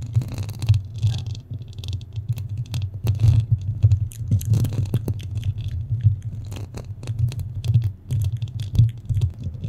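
Fingernails scratch around the hollow metal mesh grille of a black studio microphone. A steady low hum near 105 Hz runs throughout, broken by dense, uneven bursts of crackling, scraping scratches that flick up into bright hiss.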